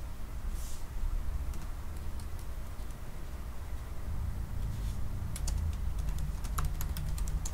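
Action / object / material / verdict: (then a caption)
tap / laptop keyboard with plastic keys in an aluminium body / plastic / none. Both hands type slowly with their fingertips on a silver aluminium laptop keyboard with black plastic keys. Short, bright key taps sit over a steady low rumble, growing denser in the second half of the clip.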